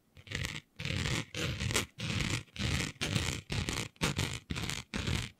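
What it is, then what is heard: Fabric scratched with fingernails. Long nails scratch and drag with both hands across a flat sheet of dark fabric printed with planets. About ten separate raspy strokes follow one another at a steady pace, each a bright scratchy rustle over a low, grainy rumble, with brief silences between them.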